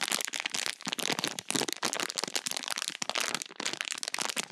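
A small, full, clear plastic bag of pink crunchy slime chunks is squeezed and crinkled with fingertips and long nails. Dense, bright crackling and crunching pops come in quick bursts, with very little low end.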